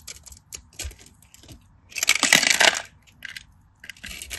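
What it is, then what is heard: Dry soap bar. A craft knife blade scores and carves a palm-sized, solid cream-colored bar of dry soap held in the hand, cutting it in a grid so crunchy cubes break off. Short, bright, dry scratches and crunchy snaps come in an uneven series, rising to a louder, denser crunching burst midway before settling back into lighter scraping.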